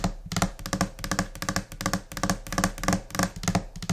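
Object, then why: Laminate desk surface. Long nails and finger pads tap across a flat, solid white laminate desk surface in a quick, scattered, irregular rhythm. Each tap is a short, dry knock with a low thud body and a bright clicky edge that dies away almost at once.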